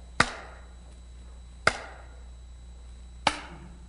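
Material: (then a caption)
Polymer. A structurally shaped polymer speaker cone material piece, of the kind used in Polk Audio speaker design, is struck three times, giving short, dull, damped knocks with a brief bright edge that dies away almost at once. Its resonances are reduced and shifted lower than aluminum's would be, though some still remain.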